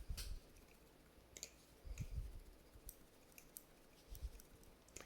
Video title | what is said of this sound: Indiana Johns MBT Overview/Mini Review | that tap that you heard it's actually not tap it's the Zen pins these Zen pins are a little bit loose